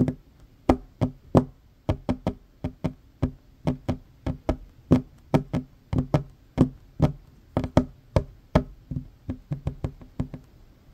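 Fingertips and short fingernails of both hands tap quickly across a worn, large, solid wooden tabletop. About 31 separate dull knocks sound in an uneven rhythm, each with a low, woody thud and a faint bright click. Every knock dies away almost instantly.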